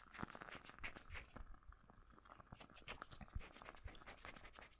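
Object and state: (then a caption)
Wooden candle lid. Scratching and tapping on a wooden candle lid, made of a really nice wood. The sound is a quiet, continuous stream of rapid, dry taps and scratchy rustling that stop short with no ring.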